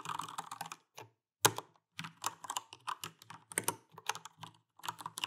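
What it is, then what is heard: Mechanical keyboard typing. Typing and tapping with fingertips and nails on the plastic keycaps of a backlit Alienware AW410K mechanical keyboard with Cherry MX Brown switches. Quick runs of bright, clacky keystrokes come in bursts separated by brief pauses, with one sharper, louder tap partway through. Each keystroke is short and dry with almost no ring.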